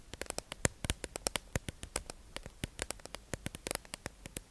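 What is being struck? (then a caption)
Clear plastic tube package holding makeup sponges. A hollow, clear plastic tube-shaped package holding makeup sponges, held in the hand, is tapped and scratched with long acrylic nails. About thirty quick, sharp plastic clicks and ticks land in an uneven rhythm, each dying away almost instantly with a bright, crisp edge over faint background hiss.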